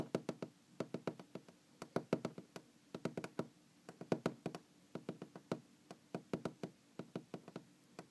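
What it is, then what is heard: Wooden object tapped. A wooden object is knocked and tapped with a rapid, uneven series of about forty short, dry knocks over eight seconds. Each knock is hollow and woody, centered low around 240 Hz with a brief bright click. The knocks die away almost instantly and come in quick clusters with short pauses between them.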